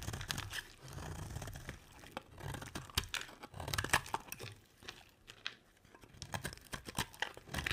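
A heavily carved solid white bar of dry soap is scraped with a metal utility blade. Rapid, crisp crunching and crackling strokes come in uneven bursts, with bright edges over a soft low rumble. Crunchy flakes come away from the bar.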